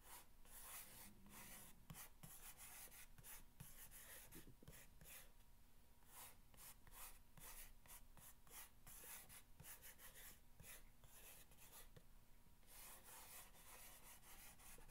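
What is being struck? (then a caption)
Corrugated cardboard box. A single fingertip with a long red nail scratches and rubs along the top of a long, narrow, hollow brown corrugated cardboard box lying on a blanket. The sound is a quiet, continuous rasping scratch with bright, papery bursts that come and go in uneven strokes over a low, steady hum.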